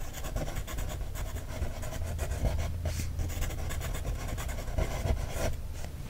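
The tip of a wooden stick traces and scratches along the printed text and lines on an open page of a paper coloring book. A steady, soft scratchy rubbing continues throughout, with a heavy low rumble underneath and brief brighter scrapes standing out now and then.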